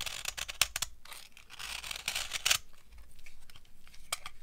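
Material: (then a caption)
Soap. A metal knife blade scrapes and carves a solid, dry, old yellow bar of soap, shaving off powdery curls. The result is a series of dry, crunchy, bright scraping strokes with quick crackling bursts and no ring, each stroke dying away almost instantly.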